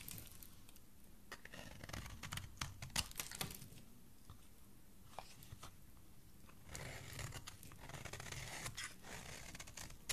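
A thin remaining piece of solid pink oval bar soap, held between fingers, is shaved with a metal utility blade. Soft, dry scraping and crisp crunchy cuts come in clusters, with sharp bright snaps in the first few seconds and a denser run of rasping strokes toward the end.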